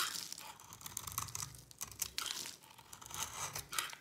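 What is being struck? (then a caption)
Soap bar scraped with a knife blade. A utility knife blade scrapes across the face of a solid orange bar of dry soap with a yellow ridged rim, held in the palm, shaving off crumbly flakes until the face is flat. The result is a bright, dry crackling and rasping with little low end, coming in uneven bursts of scraping strokes.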